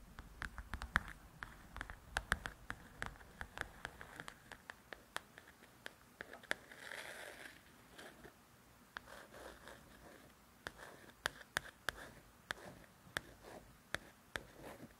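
Long nails tap and scratch the glossy paper cover of a paperback "Belles and Blossoms" coloring book. Quick, dry taps with almost no ring are scattered across the clip, broken up around the middle by a short, bright, scratchy rub. The sound stays soft and close throughout.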